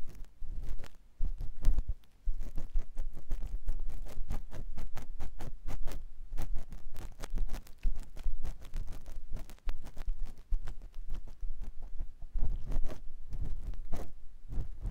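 A clear silicone ear pick scratches inside the canal of a white silicone ear mounted on a binaural microphone block. It makes a dense, continuous stream of close, soft scraping and rubbing strokes with deep low-end thumps, each stroke short and dry, with brief pauses near the two-second mark and around ten seconds.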